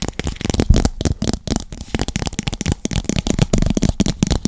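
A small, hollow, empty translucent pink plastic cup is held in both hands close to the microphone while fingertips tap and squeeze its walls. The result is a dense run of quick, dull, low-heavy taps and crinkling clicks with brief brighter crackle on top.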